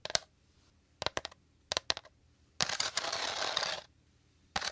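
A hollow, dome-shaped woven rattan or straw bowl is tapped and scratched with short fingernails. Quick bursts of crisp, bright, dry taps come in small clusters, then a steady raspy scratch runs across the weave for about a second before one last tap.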